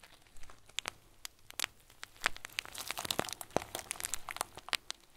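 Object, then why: Plastic bag filled with small plastic beads. A hand-sized clear plastic bag full of small white plastic pearls is kneaded and crinkled with fingertips. It gives a steady run of quick, sharp, bright crackles and crunches with a soft rustle between them, each snap dying away almost at once.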